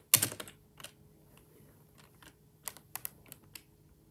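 Bare fingertips type on a black plastic, full-size, hollow-bodied wireless Microsoft ergonomic keyboard resting on a desk, with the mouse left untouched. A loud opening cluster of clacky, bright key presses is followed by softer, scattered taps with short, dry decays. A quiet steady low hum sits underneath.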